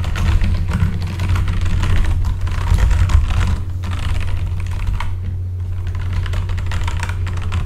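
Fingertips type quickly on a full-size backlit mechanical keyboard with plastic keycaps, producing a dense, continuous run of clacking keystrokes. A steady low hum sits underneath and carries most of the energy, while the key clicks stay faint and bright on top.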